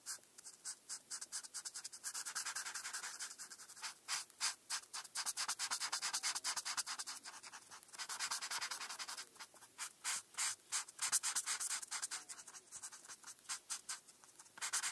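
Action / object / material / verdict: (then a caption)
scrape / felt-tip marker on a paper sheet / paper / none. A felt-tip marker is rubbed in stripes across a flat paper coloring page to color in a star, while the other hand, with long nails, rests on the paper. Quick, bright, scratchy strokes come in rapid bursts, blending at times into longer stretches of continuous hissy rubbing. The sound is dry and soft with no low end.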